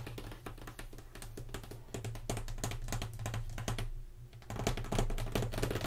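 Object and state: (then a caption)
Cardboard box tapped and scratched. Fingertips and long nails tap and scratch across the lid of a closed, hollow, medium-size black corrugated cardboard BoxyLuxe September 2019 subscription box lying on a white table. The result is a rapid, irregular stream of dry clicks and scratchy taps with bright crackle that dies away almost instantly. A steady low hum runs underneath, and the tapping grows louder toward the end.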